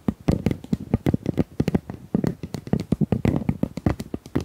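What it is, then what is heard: Plastic tube. A pink plastic tube is tapped in a quick, uneven run of short taps. Each tap gives a low, hollow thud with a brief bright click on top and dies away almost at once, with no ring.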